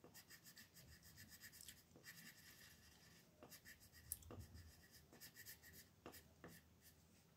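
A green colored pencil scratches and rubs across a thin white paper sheet printed with a mandala, lying flat on a dark table, in short coloring strokes while the other hand holds the sheet still. The quiet, dry scratching comes in repeated bursts with a bright, rasping texture over a soft low rumble.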